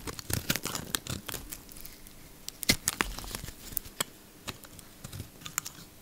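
A solid bar of soap, yellow outside and pale green inside, is held in the palm and shaved with a utility knife blade. Quick, dry crackling scrapes and crisp cuts come in dense bursts, bright and tearing in tone, with short sharp snaps standing out and a quieter stretch in the middle.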